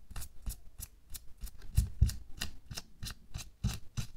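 A thin pink latex or nitrile glove, worn on a hand lying flat on a white table, is rubbed, scratched and pinched across its wrinkled surface by bare fingertips and nails. A steady series of short, crisp rustling scrapes sounds about every third of a second, each a bright crinkle over a soft low thump.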